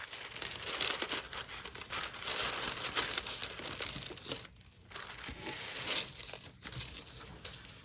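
A large thin sheet of pink metallic tissue paper lies flat on a dark table while fingertips with long nails fold and crease it. Bright, continuous crinkling and rustling fills the clip, with brief quieter pauses near four and a half and six and a half seconds.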